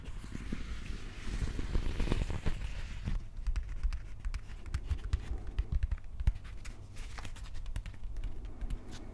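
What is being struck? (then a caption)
Plastic replica axe handle. Fingertips tap and scratch along the textured plastic grip of a replica prop axe handle held horizontally. The result is a quiet run of soft, dull ticks and scraping strokes that die away almost instantly over a low, muffled bed, with little brightness.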